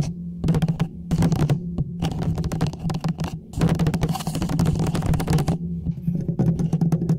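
A small orange hollow plastic traffic cone with a silver reflective band, held upright over the mic, is scratched and tapped on its sides with fingernails. Rapid, dry clicking taps and scratchy bursts come in dense clusters with short pauses, over a low steady hum.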